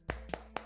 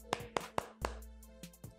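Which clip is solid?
The first.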